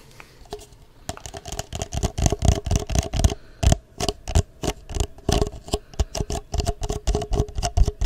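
An empty, hollow, clear ridged plastic cup is held upside down near the microphone and tapped and scratched with long fingernails. The result is a fast, irregular run of short, dry clicks and taps with scratchy bursts between them. The sound is mostly low and thumpy, with a faint bright edge.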